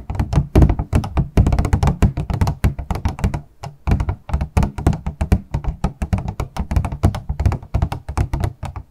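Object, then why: Small clear plastic box. A small, hollow, transparent purple plastic packaging box is held horizontally in both hands while long acrylic nails tap rapidly on its sides. The result is a fast, continuous run of dull, hollow thunks with a low body around 110 Hz and a short click on top. The taps die away almost at once, with a brief lull near the middle.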